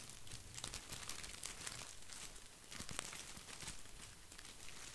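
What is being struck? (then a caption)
Artificial boxwood ball with plastic leaves. Fingertips scratch and brush across the plastic leaves of an artificial plastic boxwood ball. The result is a continuous, dense crinkling rustle with a bright, crisp top, soft low rumble underneath, and a few sharper scratchy spikes throughout.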